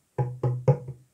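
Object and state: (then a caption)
Hollow 3D-printed plastic figurine. A 20 cm 3D-printed plastic Yoda figure, printed with 0% infill, is tapped near the microphone three times. Each tap gives a short, low, hollow knock with a woody tone. The figure sounds very hollow because of the zero infill setting.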